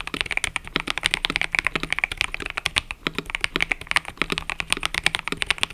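Fingertips type continuously on a mechanical keyboard with cream and purple plastic keycaps, producing around 40 quick, crisp keystrokes. Each clack is short and bright with almost no low-end thump or ring, in a steady, uneven rhythm.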